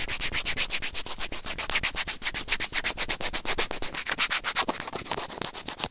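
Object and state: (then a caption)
Plastic earphone microphone remote being scratched. Serrated white plastic tweezers held in fingers scratch and rub a small, hollow, white plastic earphone inline microphone remote. The result is a steady run of rapid, bright, scratchy rubbing strokes, about four per second, with very little low end.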